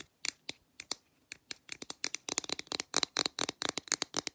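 Long black nails tap and scratch quickly along the side of a blue printed aluminum drink can, about two dozen sharp clicks in 4 seconds that come faster and denser toward the end. Each tap is bright and crisp with a thin metallic tick, almost no low end and no ring after.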